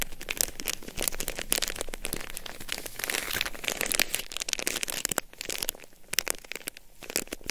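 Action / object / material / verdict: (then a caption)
scrape / plastic hand-warmer wrapper / plastic / none. A sealed, flat, palm-sized red-and-white plastic packet of a Hokaron disposable hand warmer is held in both hands and crinkled and scratched with long nails and fingertips. A dense run of quick, bright plastic crackles and crinkles continues throughout, with no ring after each snap.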